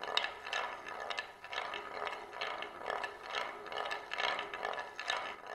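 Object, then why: Glass marble in a wooden plate groove. A single glass marble rolls in circles around the rim groove of a shallow oval wooden plate held in both hands. It makes a continuous, gritty rolling rumble in the mid and upper range that swells and fades about twice a second as it circles, with occasional light clicks.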